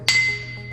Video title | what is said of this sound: Grinding Wheel Installation and Setup | if the stone is cracked it would have a dull sound but as this one here is a good stone and i hit it you can hear a very clear ring